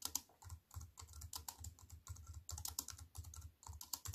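A compact wireless computer keyboard with black plastic keys in a thin silver aluminium frame, resting on a wooden table, is typed on with fingertips and long white nails. A steady run of quick, bright clicks and taps with short low thuds underneath, each dying away almost at once.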